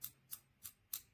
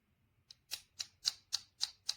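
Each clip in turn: First: metal (anodized aluminum) clip body. Second: plastic back plate, not metal.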